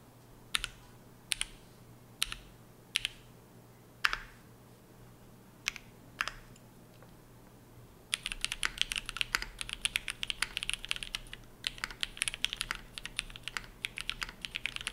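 A dark navy Shelby80 tenkeyless mechanical keyboard with GMK ABS keycaps and TTC Matrix switches on a POM plate rests on a desk mat. It is typed on with the fingertips of both hands. Seven separate bright, crisp key clacks come first, then from about eight seconds a steady run of fast, clattering typing at moderate speed fills the rest of the clip.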